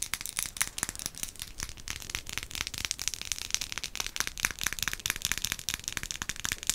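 A dark glass potion-style bottle with a paper label and stopper is held up and tapped and scratched with long acrylic nails. Quick, bright clicks and ticks rattle in a dense, uneven stream with a crackly, scratchy texture in between, each tap dying away almost at once.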